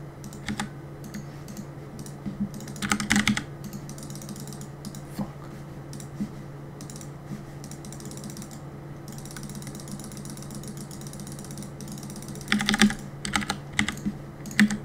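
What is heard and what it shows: Fingertips tap quickly on the plastic keycaps of a black mechanical keyboard while gaming, producing a steady stream of short, crisp clicks over a constant low hum. The taps come in dense, irregular bursts, with louder clusters near the start and again toward the end.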